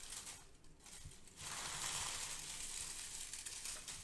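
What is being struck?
Crinkle-cut kraft paper shred.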